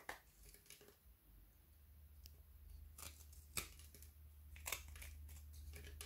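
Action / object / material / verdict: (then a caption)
scrape / frozen white chocolate bar with candy pieces / chocolate / none. A narrow frozen white chocolate strip with dark candy dragees, held in the hand, is scraped and shaved with a small kitchen knife over a pile of shavings on a wooden board. Irregular, crisp, bright scraping and cracking bursts sound over a steady low hum, with a few sharper snaps standing out.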